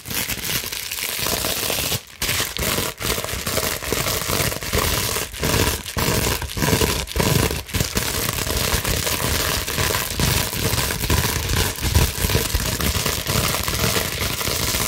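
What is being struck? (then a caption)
Plastic bubble wrap sheet. Long nails quickly scratch across a large sheet of clear plastic bubble wrap. A dense, continuous crinkling and scraping hiss fills the clip, broken only by a few brief pauses.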